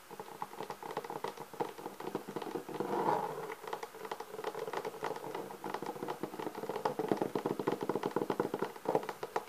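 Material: Leatherette.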